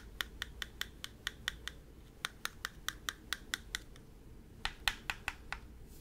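A mint-green Nintendo DS, a small plastic clamshell console, is held open and then closed while fingertips and nails tap and scratch its plastic shell. About 21 sharp, bright, clicky taps come in three quick runs separated by short pauses. They stop almost instantly over a soft, steady low hiss.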